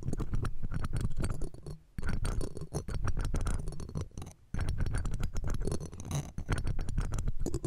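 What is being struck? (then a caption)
Steel wire-mesh microphone grille scratched and tapped with metal tweezers. Metal tweezers and a metal pick scratch and tap the round steel wire-mesh grille of the left pencil condenser microphone. Dense, rapid scratching and tapping comes through close and boomy, with heavy low rumble, and breaks off in two short pauses near 2 and 4.5 seconds before resuming.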